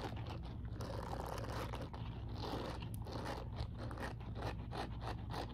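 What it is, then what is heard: Silicone scrubbing glove. Long purple acrylic nails scratch and rake across the short, soft silicone bristles covering the palm of an empty grey silicone dish glove held upright. The result is a quick run of dry, scratchy raking strokes over a steady low hum.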